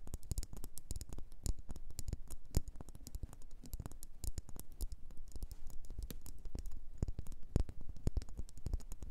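Long nails tap and scratch a solid red faceted wax pillar candle in a rapid, continuous patter of short, dull taps. The clicks are close-set and quick-dying, with soft scratching between them, and the level stays fairly even throughout.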